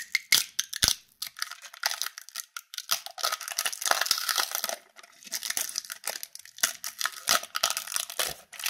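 A small crumpled aluminium foil wrapper around a pink candy is held and crinkled between the fingertips of both hands as it is unwrapped and squeezed. Dense, bright crackling and crinkling come in rapid bursts, with a sustained rustle in the middle and almost no low end.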